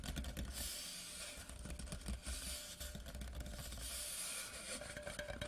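An empty, large hollow Laphroaig cardboard whisky gift tube lies horizontally and is tapped quickly with the fingertips of both hands at its ends and along its body. The taps produce a steady stream of soft, low, hollow thumps with a deep resonance. Bursts of bright, dry scratchy texture come and go over the taps.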